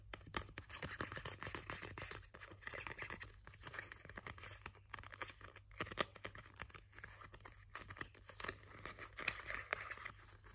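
A small, thin, solid purple glitter foam star ornament is scratched and rubbed with nails and fingertips. Quiet, dense, rapid scratching crackles mix with soft rustling, bright and concentrated around the midrange, over a steady low hum for the whole clip.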